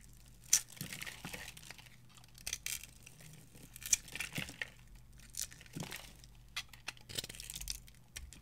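A small metal knife carves and scrapes flakes off a solid, palm-sized blue bar of dry soap held in one hand, and the shavings fall onto a pile of soap shavings. The sound is a string of dry, bright scraping and crinkly tearing strokes, quiet and irregular, with a few sharper clicks standing out.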